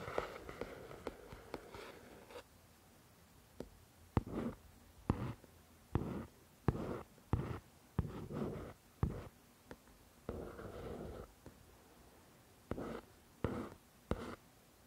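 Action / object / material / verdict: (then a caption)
tap / paperback book, paper with card cover / paper / none. Long pointed nails tap and scratch the front card cover of a paperback copy of "The Shack" lying flat on a table, its pages solid paper. Sharp, dry clicks alternate with short, soft rasping bursts of scratching, with quiet pauses between. Each tap dies away almost instantly.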